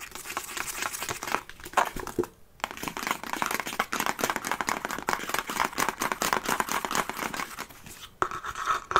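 Fingernails scratch across a large, hollow treasure-chest box of faux-leather-covered wood with metal studs, held in the hands. The result is a continuous, dry, rasping scratch made of rapid, dense strokes centered in the midrange with a bright upper edge and almost no low end. There are short quiet gaps near 2.3 and 8.1 seconds.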